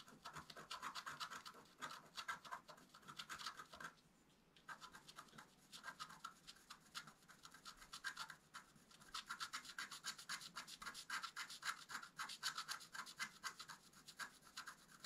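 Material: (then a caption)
Coated paper. A wooden stylus scratches quick, rhythmic strokes across a flat black-coated scratch art paper card held flat by one hand. The dry, bright rasping centers around 1.3 kHz with a hiss reaching high, repeating about four strokes per second. Brief pauses come near 4 and 8.5 seconds.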